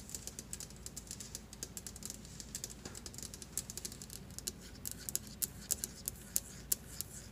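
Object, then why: Stone countertop tapped with nails. Long glittery acrylic nails on both hands tap and scratch fast across a large, solid white marble-look stone kitchen counter with a flat surface. A quick, dense run of sharp, bright, dry clicks and light scratches sounds over a faint low background. The clicks die away almost instantly, and the loudest taps come in the final few seconds.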